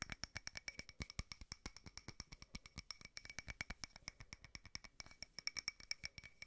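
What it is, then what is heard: Frosted glass candle holder. A small frosted glass votive holder with a candle inside is tapped rapidly with multiple fingernails. The result is a fast, steady stream of dozens of short, dry clicks, each with a faint bright glassy ping around 2 kHz and higher that dies away almost instantly.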